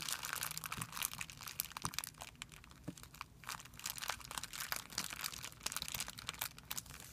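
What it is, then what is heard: Clear plastic film bag. Fingertips pinch and rub a thin, clear plastic film bag resting on a white surface. A dense run of bright, sharp crinkles rises and falls with brief pauses. There is almost no low end.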